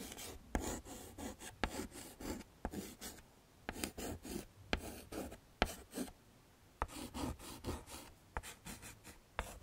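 A stick of yellow chalk is scraped across a small, flat black chalkboard in a wooden frame while shading flowers, giving repeated short, raspy scratching strokes. Sharp clicks mark where the chalk strikes the board, with brief quiet gaps between the bursts.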